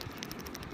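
A dried sea urchin shell is shaken, and its loose inner mouthpart rattles around inside. The result is a series of light, dry clicks and ticks with brief bright accents over a steady low background.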